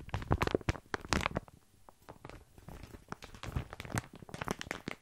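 Fingertips scratch and squeeze a full plastic bag of tiny dry pasta close to the microphone. Dense bursts of crinkling and crunching come with a low, thumpy body and brief, sharp transients. Louder clusters open and close the clip, with a quieter, sparser stretch in the middle.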